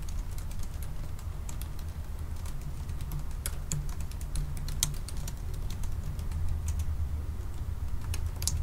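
Both hands type slowly with their fingertips on the black plastic keys of a silver aluminium laptop keyboard. Light, bright clicks tap out at an uneven pace over a steady low hum that fills the background.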